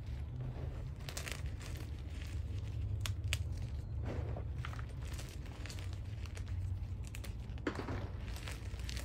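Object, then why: Pile of magnesium carbonate gym chalk chunks and powder. A large mound of crushed white SPRI gym chalk (magnesium carbonate) powder and small chunks in a black dish is squeezed and crumbled with fingertips and palms bearing long red nails. Soft, dry crunches and crinkly crackles come in short bursts throughout over a steady low hum. The chalk breaks down into finer crumbs as it is crushed.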